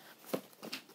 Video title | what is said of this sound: Getting My Flute Reviewed By An Instrument Repair Tech | you can hear a little bit of rattling